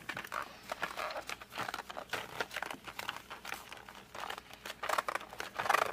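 Fingertips and short nails grip and rub across the printed back of a flat cardboard colored pencil box, which is then held upright. The result is a dense run of dry crinkling, scratchy rubs and short squeaky grips with bright bursts. The sound has almost no low end and no ringing after each touch.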